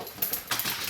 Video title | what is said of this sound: VINTAGE BARBIE DOLLAR STORE COMPARISON WITH MATTEL DOLLS - #107 | There's a solidness to the doll, and there's a heaviness to the doll